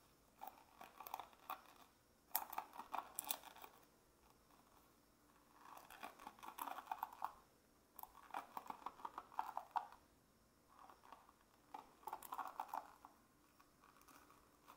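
A hand-sized bamboo or wood paddle hairbrush, with many wooden pin bristles set in a dark cushion, is held close to the mic while fingertips and short nails scratch and run along the wooden pins. Dense, crisp clicking comes in bursts of a second or two, separated by near-silent pauses, with the brightest rattle centered around 1 kHz.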